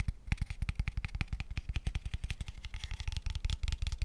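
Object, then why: Small square wooden tube box. Fingertips and short nails tap very fast on a light, empty wooden square tube box, a small hollow pale wooden tube. The result is a rapid, steady stream of short, dry, hollow thumps with a deep low body and bright clicky edges. Each tap dies away almost instantly.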